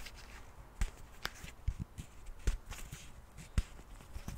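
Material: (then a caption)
Plastic. Fingernails tap and scratch the cap and sides of a white plastic cleansing milk pump bottle. Short, dull taps with brief bright clicks come at an irregular pace over a faint scratchy hiss. Each hit dies away almost at once.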